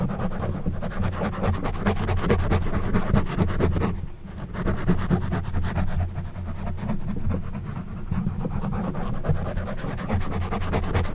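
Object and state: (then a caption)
Foam microphone windscreen being scratched. An orange plastic back scratcher with a forked tip is dragged over the top of a black foam windscreen on a silver condenser microphone. The result is continuous, dense, low, rumbling scratching with only a brief dip at around four seconds.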